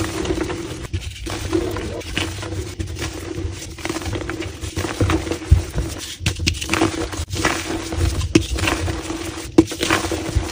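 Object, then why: Dyed gym chalk block (calcium carbonate). Gloved hands break and crush a solid, palm-sized, crumbly block of black-dyed gym chalk (calcium carbonate) into smaller chunks and powder. Dense, continuous crunching and gritty crumbling fill the clip, with sharper snaps as pieces break off. A steady low-mid hum runs underneath.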